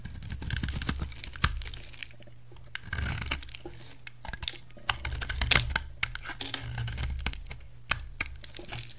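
A utility knife carves and shaves a solid white rectangular bar of soap, piling flakes up beside it. Crisp, dry scraping and crunching cuts come in uneven bursts with sharp bright clicks, over a steady low hum.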